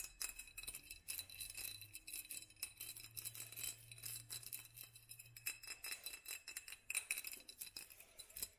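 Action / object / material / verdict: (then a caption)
tap / textured glass jar / glass / none. Long nails tap and scratch a hobnail-textured clear glass jar held in the hands, its lower part filled with dark contents. A quick run of bright, clicky glass taps and scrapes, mostly high-pitched with a faint ring around 2.5 kHz, continues with a low hum underneath.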